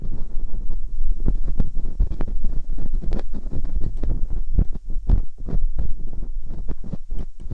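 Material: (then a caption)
Silicone. Metal dental picks scratch inside the ear canals of silicone ear molds on a binaural microphone. Close, muffled scraping and scratching rubs along with many short, sharp bursts that flash up into the high range, over a steady deep rumble.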